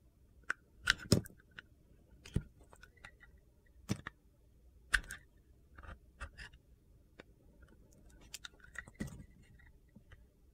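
A utility knife blade held in one hand slices the edges of a solid white Ivory soap bar with a gold and blue coating, carving it. The result is an irregular series of short, dry, crunchy clicks and scrapes, each with a low thud and bright crackle that dies away almost at once, over a faint steady background.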